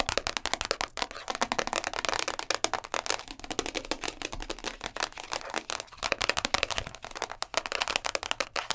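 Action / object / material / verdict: tap / thin plastic food-container lid / plastic / none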